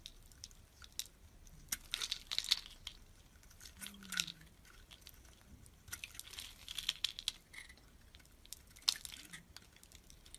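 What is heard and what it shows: A utility knife blade scrapes and cuts flakes off a solid orange and white bar of soap held in the hand. Soft, bright, crunchy scraping comes in short bursts with a few sharper crisp snaps. It's dry and quiet, with almost no low end and no ring after each cut.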